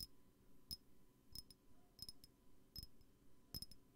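Fingers tap on a glass perfume bottle, making about nine light, irregularly spaced clicks, some in quick pairs, each with a brief high glassy chink that dies away almost at once. The taps are soft over a low, steady background hum.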